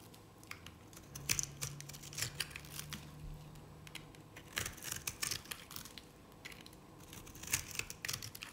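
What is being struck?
Bar of soap shaved with a knife.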